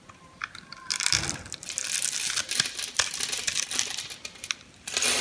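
A metal knife cuts into the grid-scored surface of a solid mint green soap bar held in the palm, slicing it into small cubes. Bright, crunchy scraping and crisp cutting crackles come in quick bursts. A louder, sustained scrape closes the clip.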